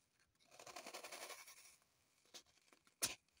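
Long pointed acrylic nails scratch and rub a small, solid, unwrapped green floral foam block resting on a table. A dry, bright, gritty rasp runs for about a second and then fades. After a quiet gap come a few short, sharp scratches, and the last one is the loudest.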